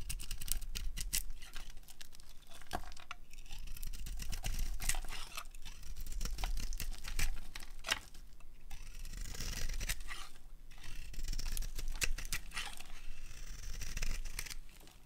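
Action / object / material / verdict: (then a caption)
scrape / soap bar cut with a blade / soap / none. A metal utility blade carves thick curls off a solid, palm-sized, cream-coloured dry soap bar with a decorated gray shell. The result is a steady stream of dry, crisp scraping and shaving strokes with bright crackly edges over a low, dull rumble.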